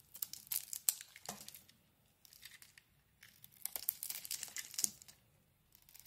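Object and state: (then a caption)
Soap bar being shaved. A knife blade scrapes and shaves a solid oval green soap bar with a dark coating, held in the palm. Bright, dry crackling and tearing scrapes come in two clusters of short strokes with a quiet pause between them.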